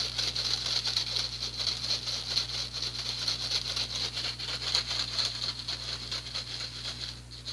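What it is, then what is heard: Plastic mesh strainer. Fingertips and nails scratch and tap the fine mesh of an empty small handheld strainer with a teal plastic frame and handle. The result is a steady, bright, scratchy patter of quick light taps, with a high hiss on top and a faint low hum underneath.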